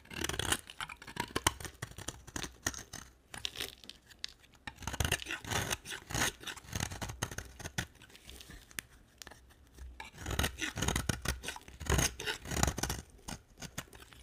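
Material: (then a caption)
Soap. A utility knife blade carves a solid, dry purple marbled bar of soap held by a hand with long dark nails. Crisp, bright scraping and shaving strokes repeat in quick bursts, with short pauses between passes and little ring after each cut.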